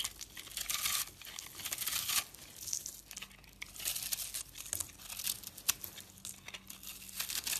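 A utility knife blade cuts and scrapes into a hand-sized, solid yellow-orange dried soap bar held in the fingers, its crumbly, porous surface breaking away in chunks. The sound is a quiet, bright, dry crinkling and crunching, with bursts of scratchy scraping that swell and fade across the clip and almost no low end.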